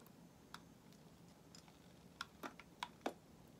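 A solid white bar of soap is held in the hand and shaved and carved with a metal utility knife blade, with shavings falling away. Soft, crisp clicks and scrapes sound at uneven intervals over a quiet background, clustering toward the end. Each is short and dry, with a bright edge.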